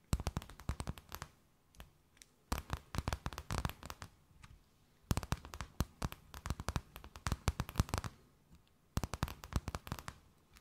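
A thin, empty, clear plastic bag held between both hands is tapped, scratched and crinkled with long nails. Dense runs of sharp, dry crackles and taps come in four bursts separated by short pauses, each hit snapping off almost instantly with a bright crinkly edge.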